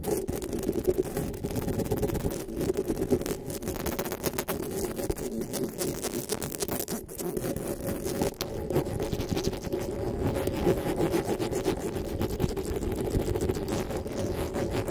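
Long nails and fingertips scratch and rub the metal mesh grille of a black desktop microphone. The result is a steady, dense, close-up scratching and rubbing texture with its weight in the low and low-mid range and little bright content. It continues without pause for the whole clip, with no voice.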